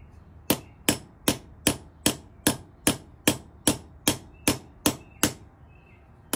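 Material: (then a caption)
Steel, brass. A long, thin, black hollow steel push rod stands upright on a concrete floor, held by one hand, while a steel ball-peen hammer with a wooden handle strikes the brass end fitting on top to seat it. Fourteen sharp, bright metallic knocks come at a steady, fairly quick pace, each dying away almost at once, with a short pause before the last.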